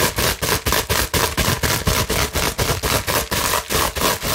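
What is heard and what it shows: Long nails scratch fast over a clear plastic bubble wrap sheet held in both hands, producing dense, broadband rasping bursts. The scratches come in a steady run of about 16 separate strokes, each a bright, noisy swish with a low rumble beneath and only brief dips between them.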